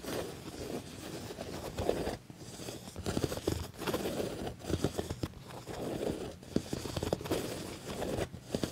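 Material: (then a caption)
Leather. Medium-length fingernails and fingertips scratch and tap the padded, stitched black leather shoulder of a soft, flexible quilted leather jacket. Dense, dull scratching bursts in the low-mids are broken by brief pauses and soft taps, with little bright content.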